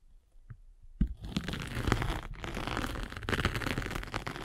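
A spiked derma roller, held by a hand with long red nails, is rolled across a foam sanding sponge with a gritty gray face and blue foam. After a quiet first second, it starts with a sharp bump and gives way to a steady, low-heavy gritty crunching and scraping texture with bright crackle on top. The texture briefly drops out twice before continuing to the end.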